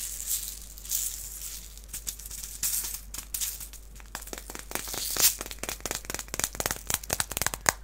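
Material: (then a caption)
Plastic. A small clear plastic box filled with white beads is held in the hands, shaken, and tapped with fingernails. It starts with a soft, hissy bead rattle, then moves into a quick series of sharp, bright clicks and ticks with almost no ring.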